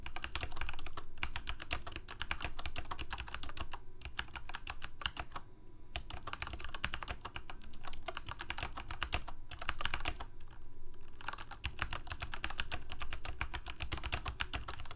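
A full-size Corsair K68 backlit plastic mechanical keyboard with Cherry MX Red switches, resting as a solid unit on a desk, is typed on rapidly with the fingertips of both hands. A dense stream of short, crisp key clacks sounds, with brief pauses near 4, 6, 10 and 11 seconds, over a steady low hum.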